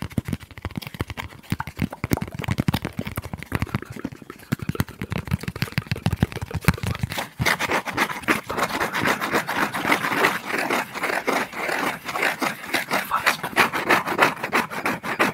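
Short fingernails and fingertips scratch and rub the surface of a thin, palm-sized piece of flat brown corrugated cardboard held up close in both hands. For the first seven seconds the scratches are dense and low and bassy. Then they shift to lighter, brighter, rapid scraping strokes in irregular bursts for the rest of the clip.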